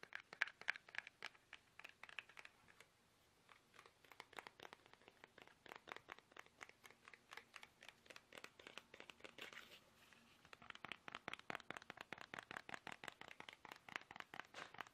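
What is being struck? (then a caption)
Soft plastic toothpaste tube. Fingertips tap fast on a small, hollow, squeezable soft plastic toothpaste tube held upright in both hands. The result is a quick, irregular stream of dozens of short, dry, crinkly clicks centered in the upper mids with bright edges, with brief pauses near the 3- and 10-second marks. Each tap dies away almost instantly.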